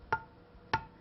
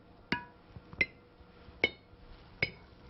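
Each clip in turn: First: unsealed canning jar lid. Second: sealed canning jar lid.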